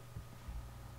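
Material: Nothing is struck.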